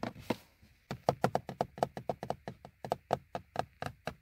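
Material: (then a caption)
Plastic. Fingertips of both hands tap and knock on the hard, hollow molded plastic bezel and trim around a car's instrument cluster. About 22 short, dry knocks arrive in a quick, uneven rhythm after a brief pause. Each has a hollow midrange tone near 700 Hz that dies away almost instantly.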